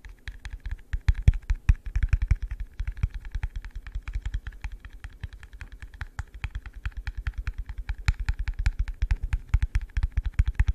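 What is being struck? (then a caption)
Plastic cup. Fingertips tap quickly on a hollow, empty, yellow translucent plastic cup held close to the mic. The rapid, uneven stream of short, dull taps sounds deep and bassy, with almost no ring after each tap.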